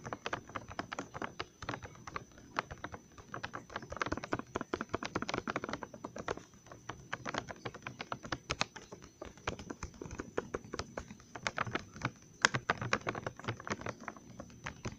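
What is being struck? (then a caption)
Glossy plastic candy bag of gummies. Fingertips and nails tap rapidly on the front of a full, glossy plastic Trolli gummy worm candy bag held in one hand. The result is a steady, quiet stream of short, dry, crinkly clicks that stop instantly with no ring, with a few sharper, brighter taps standing out along the way.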